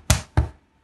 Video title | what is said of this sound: How to Make Bread - Lesson 1 - NLTG's Master Baker | Hollow that's a good sign that it's ready